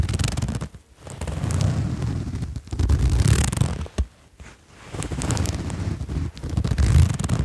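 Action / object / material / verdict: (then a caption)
scrape / sherpa fleece jacket with zipper / fleece fabric / none. Fingers draw the zipper pull along the zipper of a red patterned sherpa fleece jacket. The result is a dense, low rasping rumble in long stretches, broken by brief quiet gaps and one longer pause midway, with faint bright ticks on top.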